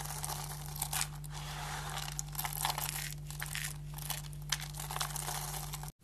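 Bare fingers grab, squeeze and crush handfuls of thin, solid, dry green soap shavings piled on a table. The result is a continuous bright, crinkly crunching with scattered sharper crackles over a steady low hum. The sound cuts off abruptly just before the end.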